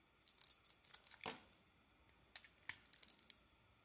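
A utility knife shaves curls off a solid, purple-coated oval soap bar with a pale green core, held in the palm. Quiet, bright, crisp scraping and crackling comes in short bursts, in two clusters with a pause between them. The sound has almost no low end and cuts off quickly after each stroke.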